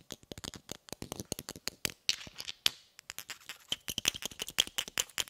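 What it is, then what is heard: Inert cast iron pineapple grenade. A hand-sized inert cast iron Mk2-style pineapple grenade with a segmented cast metal body, held in one hand, is tapped with the brass head and plastic hull of a red shotgun shell. Around thirty quick, dry, bright clicks follow one another rapidly with almost no ring, some carrying a faint metallic ping near 3.4 kHz. Briefly in the middle, a few taps blur into a short scraping rattle.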